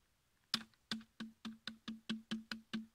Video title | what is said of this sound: Randonnée au fil de La Baume, Ardèche 21 août 2019 | il ya du vide en dessous quand on tape ça sonne le creux